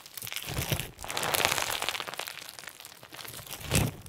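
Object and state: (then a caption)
Crunchy slime with plastic sequins. A pink and white crunchy slime lump with plastic sequins, soft and solid, is kneaded and squeezed tightly in both hands, then set down on a white table. Dense, bright crinkling and crunching crackles run throughout, with soft low squelches beneath and a louder crunch near the end.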